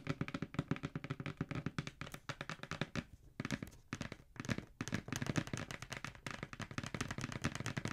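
Long nails tap rapidly on the edges and side of a hollow black cardboard Jordan shoe box held upright. The taps make short, hollow, low thuds with bright clicky tips, and they come in quick bursts with brief pauses near the middle.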